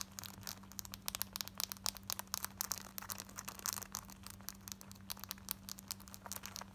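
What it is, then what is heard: Denim jeans being scratched. Long white painted nails scratch quickly at light-wash distressed cotton denim jeans worn on the body, around the zip fly and waistband, with a ripped patch on the thigh. A rapid run of dry, bright, raspy scrapes comes in short bursts over a low steady hum.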